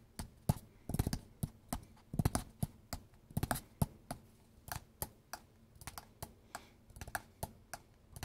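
A hollow, flat, square kraft cardboard box with a Mi logo is held up in both hands and tapped with fingertips and nails. About 27 quick taps land in an uneven rhythm, some in rapid clusters. They are dull, low, hollow thumps with light clicky edges and almost no ring.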